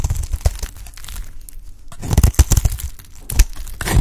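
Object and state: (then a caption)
Dry soap bar being shaved. A utility knife blade shaves a light green solid bar of dry soap held in the hand into crumbly flakes. Crisp scraping and crunching bursts come in uneven clusters, with a quieter stretch in the middle before the cutting picks up again.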